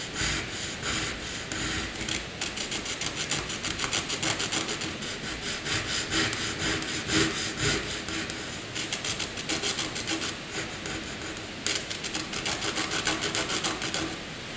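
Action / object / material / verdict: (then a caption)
scrape / pencil graphite on white drawing paper / paper / none. A pencil is rubbed back and forth across a flat sheet of white drawing paper, shading in a rectangle. The result is a steady, dry scratching rasp with a bright, hissy texture and quick repeated strokes.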